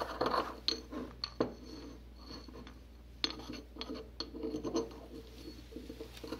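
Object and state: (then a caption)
Porcelain mortar and pestle grinding. A small white porcelain mortar, tilted in a gloved hand, has a porcelain pestle grinding and scraping white powder against its inner wall. Gritty rasping strokes are heard, broken by several short, bright clinks of porcelain on porcelain with a high ringing edge that dies away almost at once.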